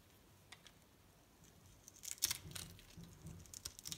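A metal utility-knife blade scrapes and cuts the surface of a solid pink striped bar of soap held in the hand, breaking off small soap cubes. After a quiet start with a couple of faint ticks, a run of short, crisp, bright scraping crunches and clicks builds up. Each one stops dead with no ring.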